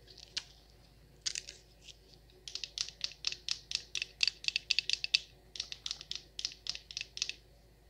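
Long nails tap and scratch a large, solid wax pillar candle, making a quick, irregular run of dry, bright ticks and scratchy bursts. The sounds are crisp and high-pitched with almost no low end, and each one stops instantly with no ring.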